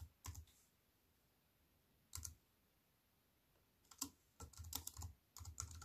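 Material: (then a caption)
Plastic. Fast two-hand typing with fingertips and long nails on a compact aluminium and plastic wireless keyboard resting on a wooden table. Bursts of crisp, bright key clicks with soft low thumps come in clusters, separated by quiet pauses, and grow denser toward the end.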